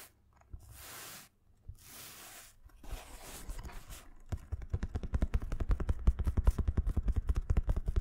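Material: Nylon fabric.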